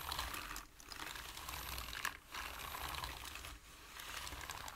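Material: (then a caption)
Plastic. Fingertips tap fast on a black plastic computer keyboard with hollow keys, making a dense stream of bright, sharp clicks over a low rumble. The typing pauses briefly three times before resuming at the same quick pace.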